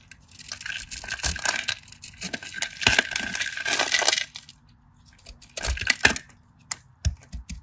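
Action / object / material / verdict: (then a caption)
scrape / bar of soap / soap / none. A craft knife blade scrapes and cuts a solid cream bar of soap held in the fingers, shaving flakes off. Bright, crisp, crackly scraping fills the first four seconds, followed by a shorter burst of cutting and a few sharp, isolated clicks near the end.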